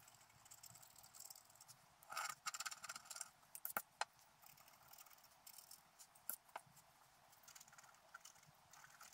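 A wooden stylus scratches the coating of a flat black scratch-art paper sheet lying on a table. Soft, bright, papery scratching comes in short, irregular strokes, with a denser burst of scraping in the middle and a few sharp, crisp ticks standing out. Throughout, there is a light high hiss and almost no low end.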